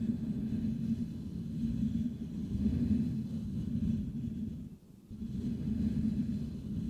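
Fingertips of both hands scratch the hollow metal mesh grille of a Blue Yeti microphone, producing a dense, continuous low rumbling scrape centered around 200 Hz. The scratching briefly fades just before the five-second mark, then resumes at the same steady intensity.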